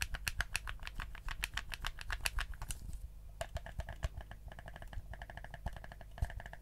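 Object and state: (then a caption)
Plastic game controller. A black, hollow plastic PlayStation 4 DualShock controller is held in both hands while fingertips click its buttons and tap its shell. The result is a rapid series of short, dry plastic clicks and taps with bright, crisp attacks over a steady low hum, with a brief lull near the middle before the clicking resumes.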